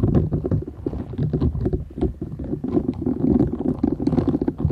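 Long nails scratch the short bristles of a flat, thin, solid purple silicone scrubber sponge held folded in both hands. The result is a dense run of quick, muffled scratching strokes with a soft, low rumbling body and little brightness.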